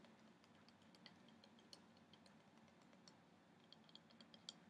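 Polished long nails tap and scratch across a medium, flat carved wooden orca wall plaque with a reddish finish and both solid and open cutwork. The result is quiet, irregular, bright little clicks and ticks, with a faint scratchy rustle over a low, steady background hum.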